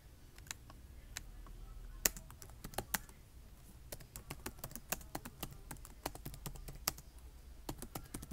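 Fingertips with short nails type and tap on the keys of a black plastic laptop keyboard, its side ports visible. Quiet, sharp, bright clicks come in an uneven run, each dying away almost instantly over a faint low rumble.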